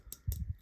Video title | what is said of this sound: This is How You Make A Crossbar Lock Knife! - Kunwu Pulsar Review | there's a slight rattle when you tap this guy